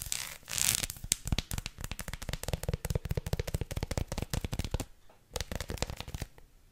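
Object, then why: Dark chocolate bar. Long lilac nails tap and scratch a large, solid dark chocolate bar with a hexagonal bumpy surface, held upright and then laid flat. A short burst of scratchy, hissing friction opens into a rapid, dense run of crisp, dry clicking taps, with a brief pause near the five-second mark before the tapping resumes more softly.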